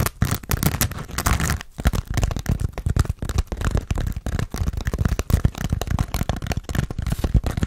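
Fast fingernail scratching on a hand-sized grey textured foam sponge with a tan foam base, solid and porous, held in both hands. A dense run of quick, dry, scuffing scratches with a heavy low-end thump, little brightness and almost no ring after each stroke.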